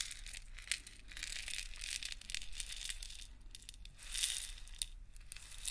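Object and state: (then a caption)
Plastic grinder full of coarse salt. A clear plastic salt grinder with a black cap and a paper label, full of coarse pink Himalayan salt, is held horizontally, tilted and tapped with fingernails. The coarse salt rattles and shifts inside with dense, bright crackling and crisp little clicks. Louder swells come near 0.7 seconds and again around 4.2 seconds over a faint low hum.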